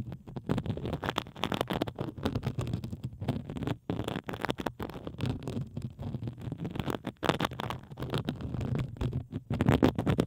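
A pink plastic bubble wrap sheet draped over a microphone is scratched with the long acrylic nails of both hands. The result is a dense, continuous run of rapid crinkling, scraping bursts with a heavy, muffled low-end rumble and little brightness, broken by a few brief pauses.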